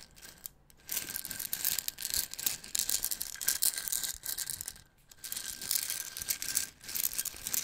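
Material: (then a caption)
Plastic, wood. A small clear plastic jar with a black cap, full of wooden toothpicks, is tapped with fingertips and tilted so the contents rattle. Dense, bright clicking and rattling fills the clip in bursts, with brief near-silent gaps and a faint steady tone around 1.6 kHz underneath.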